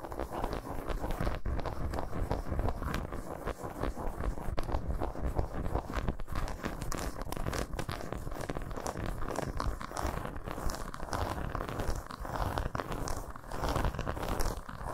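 Long nails scratch and tap rapidly across the squares of a solid milk chocolate bar lying segmented side up on a towel. The result is a dense, continuous run of dry scratches and quick taps with little pause. The sound is weighted toward low, dull thuds with only a faint bright edge.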